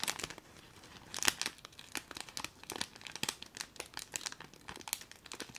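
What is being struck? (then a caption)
Plastic bag filled with foil confetti. A small clear plastic bag filled with colourful foil confetti is held in both hands and squeezed and crinkled with the fingers and long nails. It gives a steady run of quiet, bright, crisp crackles and rustles, with a louder burst of crinkling early on.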